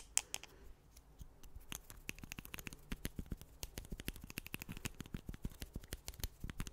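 Two thin, solid wooden sticks held in the fingers are tapped and rubbed against each other close to the mic. Many quick, dry, bright clicks with no ring come in an irregular patter, with soft scraping between them. The tapping grows denser and steadier over the last few seconds.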